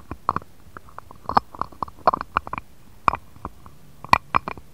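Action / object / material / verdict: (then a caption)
tap / glass dish tapped with a stone face roller / glass / none. A jade face roller with a green stone roller and metal handle is rolled and tapped across an empty, shallow, round, clear patterned glass dish lying on a cutting mat. It makes a quick, uneven series of short, dry clicks and taps with a glassy tone near 1 kHz and bright edges, each dying away almost at once over faint rolling noise.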